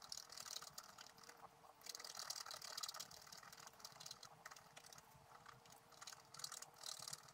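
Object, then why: Scratch art paper scraped with a wooden stylus. A wooden stylus scratches the black coating around the flower area of a scratch art sheet lying flat, using rapid short strokes. The result is a quiet, dense, bright scratching with a rasping, ratchet-like texture that swells in several louder bursts, with almost no low end.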